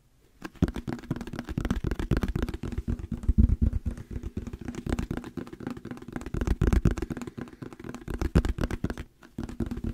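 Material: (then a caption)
Plastic. A hollow yellow plastic squeeze bottle with a paper label and a white cap is held in the hands and tapped rapidly with the fingertips and nails. The taps are dull, low and very short, running almost continuously with brief pauses near the start and just before the end.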